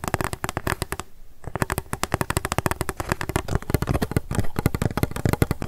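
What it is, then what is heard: Empty plastic cup. An empty pink plastic cup, held sideways, is tapped rapidly with long acrylic nails. The result is a dense run of sharp, dry clicks with almost no ring, holding a hollow low body around 109 Hz. A brief quieter pause comes near the one-second mark before the tapping picks back up.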